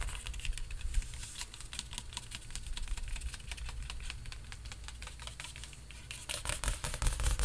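Fingertips tap rapidly and unevenly on the taut surface of a large painted canvas stretched on a frame, giving a drum-like sound. Each tap is a short, dry click with a bright edge over a deep, steady low thump. The tapping grows louder and faster near the end.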